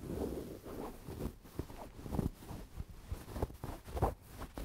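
Long dark-painted nails and fingertips scratch, rub and squeeze a medium-sized, soft, stuffed dark grey velvet cushion held close to the microphone. The result is a quiet, muffled, low-pitched rustling and scraping with little high end, marked by a few short, slightly louder scratches.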